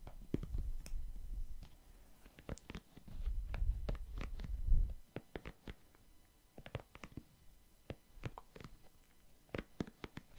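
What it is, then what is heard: Silicone scalp massager brush. A small pink hand-held scalp massager, with a rigid plastic body and soft silicone bristles, is held close to the microphone and scratched and tapped with the fingertips. Soft, low, rumbling scratches come in two longer stretches, between many short, dry, bright taps and clicks.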